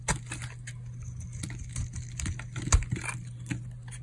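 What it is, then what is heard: Dry soap bar. A metal blade scrapes and shaves flakes off a solid pink bar of hard, dried soap held in the hand. Short, dry crackling scrapes sound over a steady low hum, with the loudest crunches near the start and just before the three-quarter mark.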